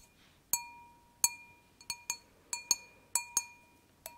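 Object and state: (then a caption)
Wine glass. An empty, thin-walled stemmed wine glass is tapped with long nails in a series of irregularly spaced, sharp clinks. Each tap gives a bright click and a ringing tone near 1 kHz with a fainter one around 2.5 kHz, and some rings sustain briefly between taps.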